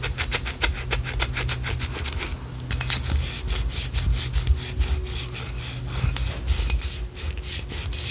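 A large white solid wax pillar candle, held in the hands, is scratched along its side with long orange acrylic nails. A quick, steady run of short, bright, raspy scratches plays over a low, constant rumble.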